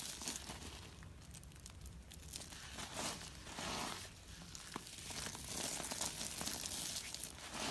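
Both hands rub and crush a pile of small, solid, pale-yellow dry soap flakes on a rubber mat with fingertips and thumbs. The result is a steady, bright crinkling and crunching, with sharp crackles and tearing-like rasps rising and falling in loudness throughout.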